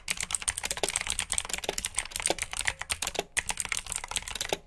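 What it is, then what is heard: Mechanical keyboard typing. Fingertips with short nails type steadily on a full-size black plastic mechanical keyboard with RGB-backlit keycaps, clicky blue switches and hollow key housings. The rapid keystrokes give bright, sharp clicks with very short decay, mostly in the upper range and with little low end.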